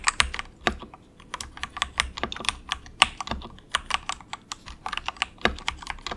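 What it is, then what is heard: Plastic mechanical keyboard. Fingertips of both hands type softly on a compact, low-cost 68-key plastic mechanical keyboard with a hollow case, resting on a desk mat. About thirty quick, bright, clacky keystrokes come in an irregular rhythm, each dying away almost instantly over a faint low hum.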